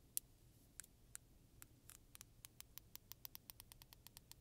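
Long nails and fingertips strum and scratch along the fine and coarse teeth of a medium-size solid black plastic hair comb, held in both hands and flexed. About 21 sharp, bright ticks and clicks sound over a quiet, low background hiss. They start sparse and settle into a quicker, steady rhythm in the second half.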